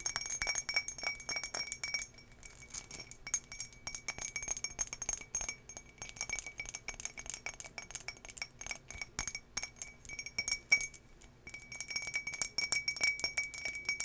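Long nails tap the sides of an empty turquoise embossed glass tumbler held in hand, making a rapid, continuous stream of bright clinks and ticks. Each tap rings briefly, with a steady glassy tone near 2.3 kHz that sustains over most of the clip. The tapping pauses briefly around the two-second mark and again near eleven seconds.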